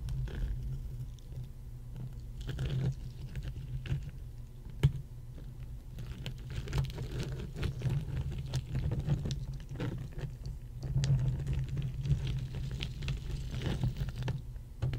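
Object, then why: Ice cubes tapped and scratched with fingernails. Long painted nails and fingertips tap and scratch across a pile of solid ice cubes laid on a red mat. Quick, dry clicks and light scratching patter continuously over a steady low rumble, with a few sharper taps standing out.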